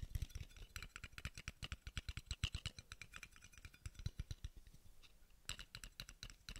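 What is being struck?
Small steel screw cap.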